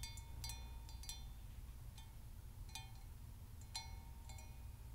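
A hollow, apparently empty hammered copper Moscow mule mug with a brass handle is tapped on its outer wall with long nails. About ten light, bright metallic pings ring briefly with a high shimmer over a soft, low background rumble.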